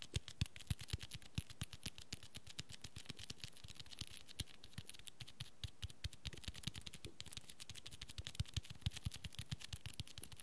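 Fingertips and nails tap and scratch the red textured cloth cover and spine edge of a small, solid hardcover book. The result is a quiet, rapid, steady stream of dry taps that carry a dull low thump and a bright scratchy click, each dying away almost instantly with no ring.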